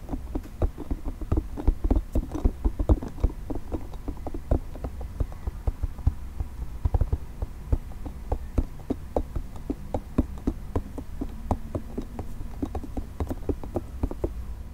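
Fingernails scratch and tap quickly over a multicolored, nubby soft plastic spiky ball held in the hands. The result is a steady stream of short, dull clicks and scritches with a muffled, low-heavy body and no ring after each touch.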